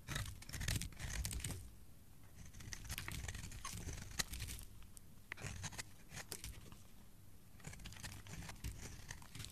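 A hand-sized, solid light teal bar of soap is held in the hand and shaved with a metal box-cutter blade, scraping and carving off flakes and shavings. Dense bursts of crisp, bright crackling and tearing scrapes alternate with quieter pauses, over a soft low rumble.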